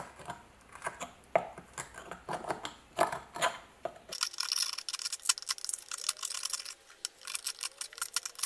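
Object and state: Rusty iron hammer head.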